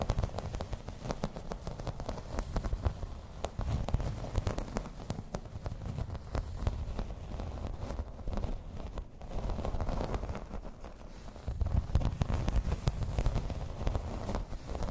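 A grey embossed plastic placemat lying flat is tapped and scratched in place with long red nails. The result is a dense, steady run of soft, low, crackly taps and scrapes. There are brief pauses and slightly louder bursts along the way.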